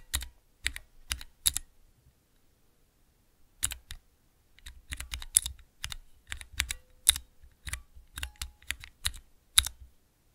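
Fingertips press the keys of a small clear plastic 3x3 Cherry MX mechanical key switch tester. Sharp, bright clacks come in a quick group, pause, then pick up again in a faster, uneven run. Each click stops almost at once, with a faint low thump beneath it.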